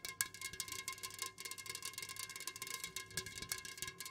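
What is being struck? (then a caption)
Aluminum drink can tapped with fingernails. Long nails on both hands rapidly tap the sides of an unopened, full Jumex Guava Nectar aluminum can standing upright on a fuzzy cloth. The result is a quick, continuous stream of bright, clicky metallic ticks with a faint ring around 1.6 kHz. Each tick dies away almost instantly and there is very little low end.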